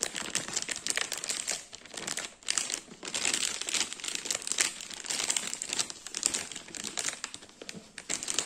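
A large lemon ring cake in a clear plastic bag with a paper label is tapped and scratched with fingertips and nails on the bag and label. Dense, continuous crinkling and crackling fills the clip, bright and high-pitched with almost no low end, and brief dips in loudness fall between bursts of handling.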